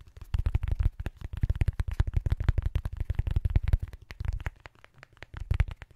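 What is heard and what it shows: A small, soft, round pink foam makeup sponge is held in the fingertips and rubbed and pressed against a metal microphone grille. It makes a rapid series of short, deep, muffled thumps and crackles in uneven bursts, with energy almost entirely in the low end.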